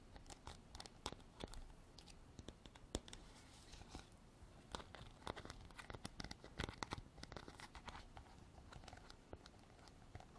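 Long black artificial nails tap and scratch around the white plastic cap and neck of a hand-sized, textured white hard plastic container. The result is a quiet, steady stream of sharp clicking taps and crinkly scraping with brief, bright transients.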